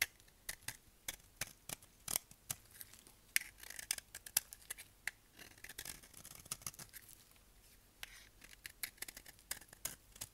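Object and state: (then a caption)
Dry soap bar shaved with a blade. A solid, dry tan soap bar held in the hand is shaved with a utility knife blade. Bright, crisp scraping and cracking strokes repeat with short pauses between them. Each stroke stops sharply, and there is almost no low end.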